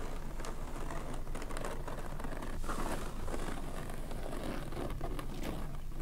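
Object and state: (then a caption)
Waxed cloth shako cover. Long red-painted fingernails scratch and squeeze a stiff, dark grey crinkly waxed oilcloth cover stretched over a tall hollow shako hat standing on a table. The result is a steady stream of dry crinkling and rustling scratches with a muffled, low-heavy body.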